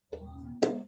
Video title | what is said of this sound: ESCAS: proceso diagnostico dolor abdominal parte 2 | está lleno de aire es buena tiene un sonido como de vacío